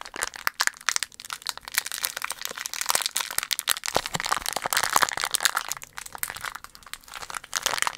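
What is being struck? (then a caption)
Thin metal-foil candy wrapper. A small, empty, loosely crumpled green printed foil candy wrapper is squeezed and crinkled with the fingers close to the mic. It gives a dense, continuous stream of sharp, bright crackles and crinkles, mostly high-pitched with almost no low end, each snap dying away instantly.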